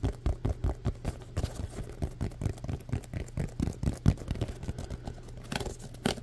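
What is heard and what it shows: A small green and grey solid-foam Nerf football has its textured surface tapped and scratched with the fingertips and nails. The result is a fast, steady series of soft, dull, low thuds with short scratchy rustles between them, each tap dying away almost at once.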